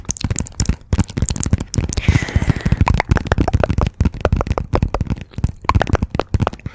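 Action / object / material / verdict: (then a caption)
tap / paperback book with glossy card cover / paper / none. Long fingernails tap quickly and hard on the glossy cover of a "Persepolis" paperback book held behind the microphone. The rapid, dry, low-heavy taps come in dense bursts, with a brief brighter scratchy rustle near the middle.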